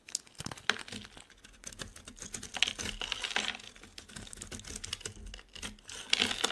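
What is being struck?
Bar of soap scraped with a blade.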